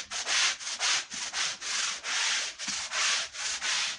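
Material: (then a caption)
Wool. A dirty woven wool Persian rug covered in white powder and foam is scrubbed with a long-handled stiff brush. Steady back-and-forth strokes make a bright, bristly rasping hiss that rises and dips in an even rhythm, with only brief pauses between strokes.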